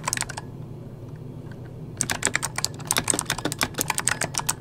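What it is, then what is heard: Plastic mechanical keyboard. Fingertips of both hands type rapidly on a full-size backlit mechanical computer keyboard with plastic keycaps. A short burst of clicky taps is followed by a pause of low hum, then a fast, steady run of bright, sharp key taps, about two dozen in all, each ending almost instantly.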